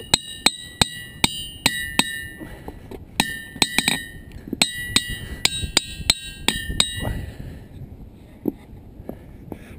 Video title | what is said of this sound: Ringing Rocks State Park - Rocking With Mother Nature! | this one really has no sound this one does